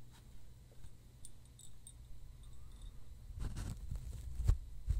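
A roll of white embossed paper towel is held upright in front of the microphone while fingertips and nails handle and scratch its paper surface and unroll a sheet. It begins with quiet, low rustling and faint bright scratches, then grows into louder crinkly rustles and a few sharp crackles toward the end.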